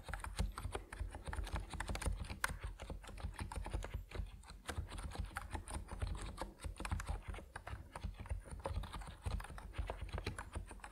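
A compact plastic Epomaker NiZ Plum Atom 68 mechanical keyboard with white and purple PBT keycaps is typed on steadily by fingertips, producing a dense stream of short, dry clacks. The keystrokes land with a deep, low-weighted thock, and each one decays almost instantly.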